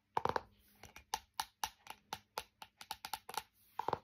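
A flat, thin, solid printed laminated hardboard clipboard with a metal clip is held up and tapped and scratched on its face with fingernails. Nineteen short, dry, clicky taps with a bright midrange tone are heard. Quick bursts open and close the clip, with faint scratchy texture between the hits, and each tap dies away almost instantly.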